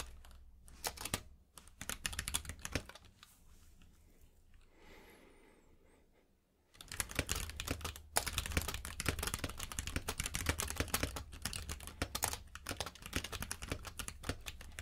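Fingertips type on a compact mechanical keyboard with plastic keycaps, producing rapid, uneven clacking with sharp, bright clicks over a low thud. The typing pauses for a few seconds of quieter, soft sound, then resumes louder and denser through to the end.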